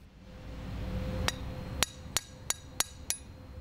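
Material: Abrasive.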